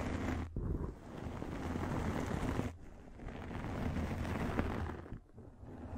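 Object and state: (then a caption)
Microfiber pad scratched against the microphone. A pink fluffy microfiber makeup remover pad is held over the microphone and scratched with long nails. This produces a dense, muffled, rumbling rustle heavy in the low end. It comes in long sweeping passes broken by brief dips in level.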